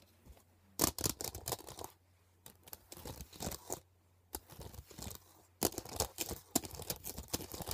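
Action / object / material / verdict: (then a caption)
tap / hard plastic CD case / plastic / none. Long painted nails tap and scratch quickly along the surface and edge of a thin, flat, transparent hard plastic CD case lying on a blanket. Bursts of sharp, bright, dry clicks and scratchy rasps come in clusters separated by brief pauses, each hit dying away almost instantly over a faint low hum.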